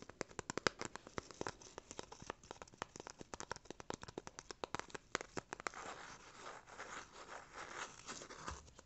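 A small brown corrugated cardboard rectangle held in the hands is scratched and rubbed with fingernails. Rapid, sharp scratching clicks fill the first six seconds, then give way to a softer, continuous rubbing texture toward the end.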